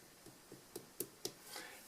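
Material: Clay.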